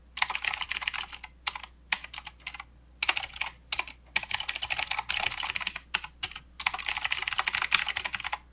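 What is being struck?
Plastic mechanical keyboard.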